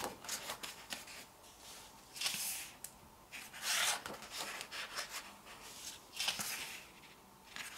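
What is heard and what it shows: Flat fingertips and long nails rub and sweep across the printed pages of an open glossy paper photobook as the pages are flipped. Soft, bright papery swishes and scratchy rubs come in bursts, with a few louder sweeps standing out over a quiet, hissy background.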